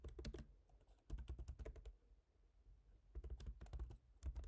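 Fingertips type on the black plastic keys of a silver MacBook Pro's aluminium laptop keyboard in three quick bursts separated by short pauses. Each tap is a soft, quiet, dull thud with a faint bright click on top, dying away almost instantly.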